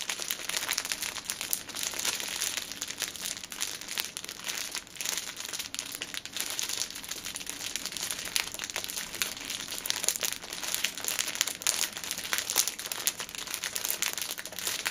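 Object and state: Cellophane-wrapped tissue pack.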